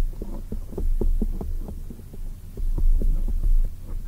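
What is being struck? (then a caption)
Foam microphone windscreen. A black oval foam microphone windscreen is tapped with long nails while hands are cupped around it. The sound is a quick run of soft, muffled thumps over a deep, throbbing low rumble, like a heartbeat, with almost no bright or high content.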